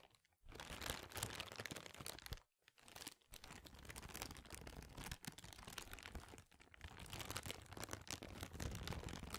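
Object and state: Clear plastic bag.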